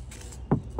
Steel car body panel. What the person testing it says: Jak słychać dźwięk jest całkowicie inny